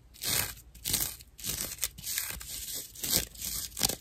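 Long nails scratch a dry natural loofah pad with a cord attached, making a run of rough, bright scraping strokes. The strokes swell and fade at an uneven pace, each a crunchy, crinkling rasp that is mostly high-pitched with little low end.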